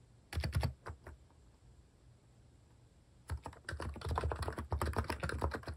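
Fingertips type on a compact mechanical keyboard with pastel plastic cat-themed keycaps, resting solidly on a wooden desk. A short burst of quick keystrokes is followed by a quiet pause of about two seconds, then steady, fast typing resumes. Each keypress gives a soft, deep, muffled thock with a brief click and little ring.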